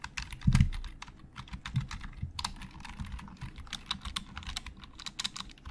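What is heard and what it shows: Fingertips of both hands type on a hollow black plastic Logitech computer keyboard, producing a steady run of quick, dry key clicks. Each tap has a short bright click over a low, hollow thump, with one heavier strike near the start. The keystrokes stop dead with no ring.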